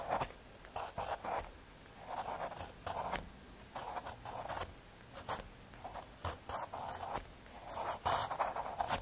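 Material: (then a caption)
Cardboard. A wooden pencil's graphite tip scratches across a small, flat, solid piece of brown kraft cardboard resting on a red surface, as a hand writes the word "Drawing" beside a pencil sketch of a coffee pour-over. The sound is a series of short, dry scratching strokes with a raspy midrange and a bright hiss, separated by brief quiet pauses.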